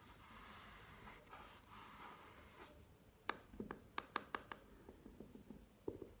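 Long nails scratch the velvet lid of an elongated, hollow, burgundy velvet-covered hard jewelry case lying on a table, making soft, hissy brushing sounds for nearly three seconds. Then they tap the lid in a series of quick, dry, short clicks with little ring, some brighter and some duller, with a brief pause before the last two.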